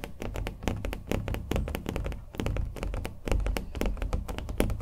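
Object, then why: Painted canvas on a wooden stretcher frame. A small acrylic-painted canvas on a wooden stretcher frame, hollow-backed, is held in the hands while being tapped and scratched with fingernails. Quick, dense, dull taps land in an uneven rhythm, each with a low, hollow thump that dies almost at once. Faint scratchy texture sits between the taps.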